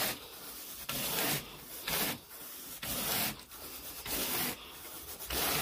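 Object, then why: Pile carpet raked with a plastic-headed carpet rake. A carpet groomer rake with a wooden handle and a teal plastic head is scraped through wall-to-wall grey pile carpet on a bedroom floor in raking strokes. Bright, scratchy swishes come in loud bursts separated by quieter stretches of lighter rubbing, with little low end.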